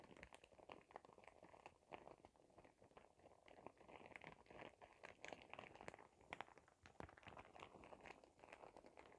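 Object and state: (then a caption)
Plastic shower cap being crinkled. A clear printed plastic shower cap with glitter is rubbed and crinkled between both hands with fingertips and nails. It makes a quiet, continuous stream of dense crinkling and crackling, mostly in the midrange with sharp, bright ticks, and the rustle rises and falls throughout.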